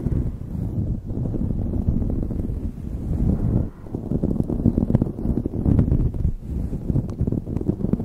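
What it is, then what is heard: Knit fabric beanie scratched over a microphone. Long nails scratch a light blue knit beanie fitted over a microphone. The result is a continuous, muffled, low rustling and scraping with little high content, dipping briefly partway through before the scratching resumes in denser, choppier strokes.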